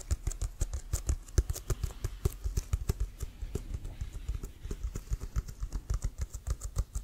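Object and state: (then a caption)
Leather American football. Fingertips and nails tap rapidly on the pebbled side of a large, hollow, inflated, leather-covered brown American football with a white stripe. About forty quick, dry taps land in a steady patter, each a short low thump with a faint bright click and almost no ring.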